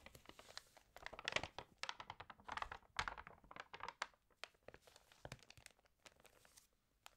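Long-nailed fingertips rub and turn the pages of an open, water-damaged glossy-paper magazine. Quiet, bright crinkling and crisp rustles come in rapid bursts, with short ticks and taps from the nails and fuller swells of paper crinkle as pages turn. The rustling thins to sparse, faint ticks toward the end.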